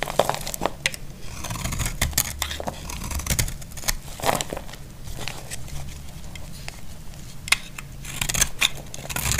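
A utility knife blade scrapes and chips crumbly flakes from a solid, dry, cream-white Lux soap bar. Repeated short, crisp scraping and crackling cuts sound over a steady low rumble, each transient bright and quick to fade. Several louder snaps stand out near the start and the end.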